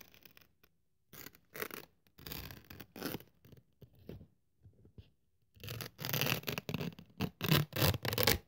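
A thin white polyethylene foam sheet, held by hand, is cut and scraped with a craft scalpel blade. Short, dry scratchy strokes come in bursts with brief pauses, quiet and fast-decaying with a bright rasp. Denser, louder scraping passes follow toward the end.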